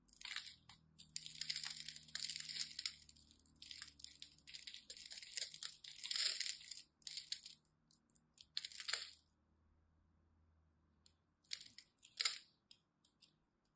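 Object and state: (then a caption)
Glycerin soap bar being cut. A utility knife blade cuts and scrapes pre-scored cubes off the surface of a solid, palm-sized green and white striped glycerin soap bar held in one hand, and crumbs fall away. Bright, crisp crunching and crackling comes in dense bursts with short pauses between strokes, then a longer quiet stretch before a few final crunchy scrapes.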